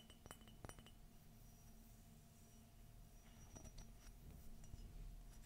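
Fingernails tap the outer wall of a hollow, empty white glossy ceramic coffee mug with a gold forest and Minnie print and a gold handle. Quiet, bright, glassy clinks come in loose, irregular bursts, each dying away almost instantly, over a steady low hum.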